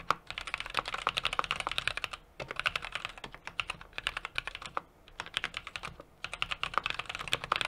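Fingertips of both hands type rapidly on a small 60% mechanical keyboard with an aluminum case, brass plate and plastic keycaps. Quick bursts of crisp, bright key taps with very short decay are separated by brief pauses, over a faint low background hum.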